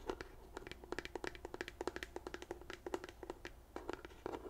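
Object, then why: Plastic pump bottle. Long nails tap quickly and irregularly on the front label and sides of a white plastic CeraVe lotion pump bottle, about thirty taps in all. Each tap is a short, dry, hollow click with a low body tone near 360 Hz and almost no ring. The tapping stays soft and quiet throughout.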